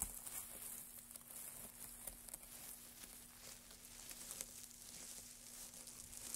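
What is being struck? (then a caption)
Loose pile of thin wood shavings. Both hands in white cotton work gloves dig into, crumple and rustle a large loose pile of thin, dry, light-coloured wood shavings on a black surface. The result is a quiet, continuous, bright crackling and crinkling rustle with small sharp flicks scattered throughout, over a faint steady low hum.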